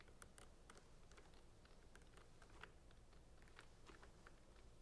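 Fingertips and nails tap and scratch the sides of clear, labeled plastic centrifuge tubes standing in a rack. The result is a quiet stream of light, dry clicks with short bright ticks and soft scratching. The clicks decay almost instantly over a steady low background rumble.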